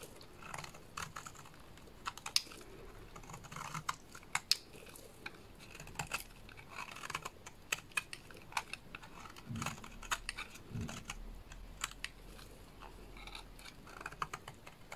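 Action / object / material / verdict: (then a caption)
scrape / bar of soap cut with a small blade / soap / none. A small blade scrapes and shaves curls off the surface of a solid yellow bar of soap. The result is a fast run of dry, crisp, clicky scraping strokes with bright, high edges. A few softer, duller thuds sit between them.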